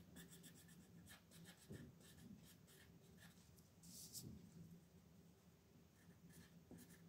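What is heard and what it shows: A green wooden colored pencil rubs and scratches across a thin white paper coloring sheet on a wooden desk in continuous coloring strokes while the other hand holds the sheet. The result is a quiet, steady scratchy rustle with soft, irregular bursts of bright, gritty texture over a low hum.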